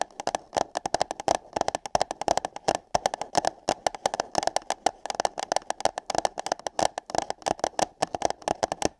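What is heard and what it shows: Fingertips and long nails tap and scratch on hollow light-blue paper cups placed over microphone ears. The result is a rapid, uneven stream of dry, hollow taps with a boxy midrange tone and bright clicky edges, each dying away almost instantly. Short scratchy bursts are mixed in, and there are brief pauses between clusters.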